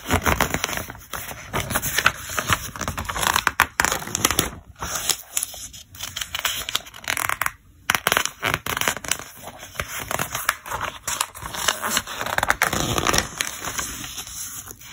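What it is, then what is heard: Paper catalog pages turned. Fingertips turn the pages of a thick paper catalog lying open flat, one page at a time. Dry, crackling rustles and crinkly paper scrapes come in busy bursts, bright in tone, with brief quiet gaps between turns.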